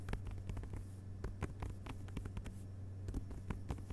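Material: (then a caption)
Paper. One hand's fingertips tap rapidly across the glossy paper dust-jacketed front cover of a closed hardcover book resting on carpet. The result is a quick patter of soft, dull, short taps over a steady low hum.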